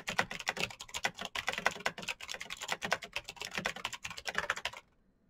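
Fingertips of both hands type fast on the keycaps of a black plastic full-size Razer BlackWidow mechanical keyboard with clicky green switches, RGB backlight and a hollow case, resting on a desk mat. Dense, bright, sharp clicks and clacks run in a rapid, uneven stream with little low end and almost no ring. The typing stops just before the end, leaving near-silence.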